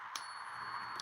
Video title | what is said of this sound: J & J’s Currency is live! | See how long it lasts? It still going and then it quits.